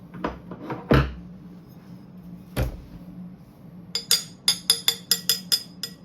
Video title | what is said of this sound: Bladesmithing: Tempering Blades | This one has been tempered already, so it has a lower tone.